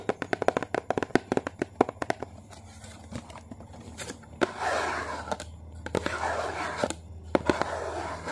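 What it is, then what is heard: Cardboard food box. Long painted fingernails tap and scratch the printed side panel of a small, hollow yellow and blue Maggi cardboard soup box held in the hand. A quick run of sharp, dry clicks fills the first two seconds. Then come softer, hissy scratching passages broken by occasional single taps.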